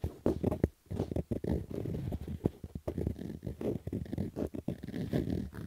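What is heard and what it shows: Fingernails scratch across a black Adidas fabric baseball cap with a stitched brim, making a rapid series of rough, dry scraping bursts. The sound is muffled and low-heavy, with quick strokes separated by brief pauses.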